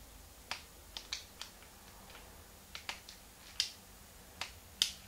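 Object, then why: Plastic handheld game console buttons. Thumbs and fingertips click the plastic buttons and shoulder triggers of a small, hollow, translucent pink plastic Game Boy Advance held in both hands. Ten sharp, bright, dry clicks arrive at an uneven pace, each dying away almost instantly over a quiet background.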